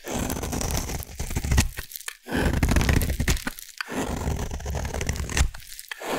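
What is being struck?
Bar of soap.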